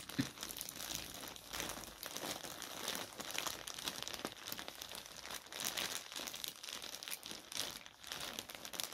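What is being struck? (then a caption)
Soft polyethylene mailer bag. A white soft polyethylene mailer bag with a dark item inside is held in both hands, torn open at the top and crumpled by the fingers. It gives a steady, dense run of bright, crisp crinkling with rough tearing rasps throughout and very little low end.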